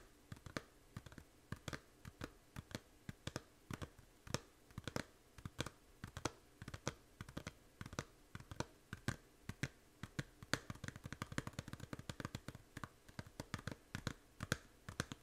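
Long nails tap the front cover of a small hollow plastic 3DS game case. Dozens of quick, quiet, dry clicks come in uneven bursts over about 15 seconds, each with a soft hollow low thump and a bright tick. Every tap dies away almost at once.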